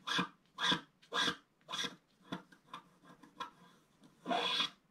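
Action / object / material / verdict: scrape / wax-coated scratch-art card scratched with a wooden stick / wax coating / none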